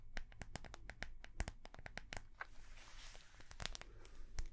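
Long nails tap and scratch the front of a small notebook with a clear, flexible plastic cover and metal binder rings. A quick run of sharp, dry clicks with bright edges plays over a low rumble, broken around the middle by a softer scratching swish before the taps pick back up.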